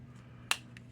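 A genuine blue metal Spyderco folding knife has its action worked, giving one sharp, bright snap-like click followed by a much fainter second click over a low background hum. The action sounds solid and normal, unlike the cheaper-sounding clone.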